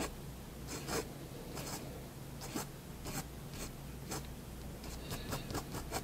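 A fine pen tip draws slow strokes across a white sheet of drawing paper resting on a desk. Soft, dry scratching comes in short, bright bursts over a low steady hum.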